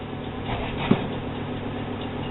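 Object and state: Nothing is struck.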